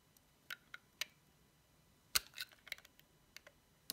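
A solid, dry, cream-white bar of soap decorated with a cat face and paws, held in the fingertips, is cut and shaved with a metal utility knife blade. A series of short, sharp, bright clicks and crisp cracks sounds with very little low end, including a louder cluster of crackling snaps in the middle and quiet pauses between the cuts.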